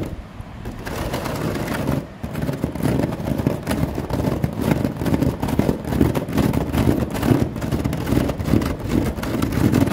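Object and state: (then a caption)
Synthetic rattan table top. Long fingernails tap and scratch across the grey woven plastic wicker of a synthetic rattan table top. The result is a steady, dense run of dry, short crackling scrapes and soft taps, mostly low and muffled with little brightness, and a brief pause near the two-second mark.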